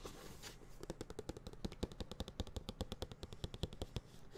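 A white printed cardboard tablet box, medium-sized, hollow and closed, is held near the microphone and tapped rapidly with the fingertips and nails. It gives about thirty quick, dry taps, each with a low hollow thump and a bright clicky edge, and a soft rustle at the start. Each tap dies away almost at once, so the taps stay distinct in a fast, uneven patter.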